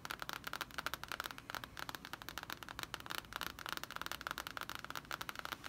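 Long painted fingernails and the fingertips of both hands tap and scratch the glossy printed cardboard cover of a large, closed hardcover D&D Player's Handbook lying flat and solid on a wooden table. A rapid, continuous run of short, dry clicking taps mixes with scratchy scraping, with a bright edge and a tone around 1.4 kHz. Each tap dies away almost instantly.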